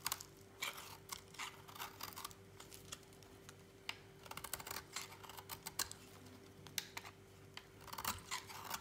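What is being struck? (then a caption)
Soap bar shaved with a knife blade. A utility knife blade shaves thin flakes off the edge of a solid, dry lilac soap bar held in a hand. Short, crisp, bright scraping and crackling bursts come in uneven clusters at a quiet level, over a faint steady low hum.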